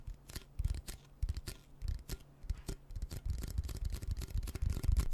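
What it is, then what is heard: Cardboard chip can. A red Pringles chip can, a hollow cardboard composite tube with metal ends about 25 cm long, is held in both hands close to the mic while fingertips and short nails tap and scratch along its printed surface. Dull, hollow low thumps mix with quick, faint scratching strokes, growing busier and denser toward the end.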